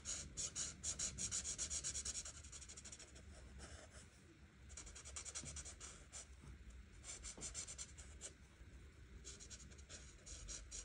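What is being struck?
Felt-tip marker on a paper sheet.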